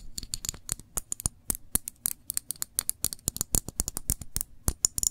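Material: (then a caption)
Glass. Long nails tap and scratch the curved side of a small glass jar full of cranberry jam, held sideways. Many quick, bright, clicky taps come in an irregular rapid pattern, each dying away almost instantly, with faint scratchy strokes between them.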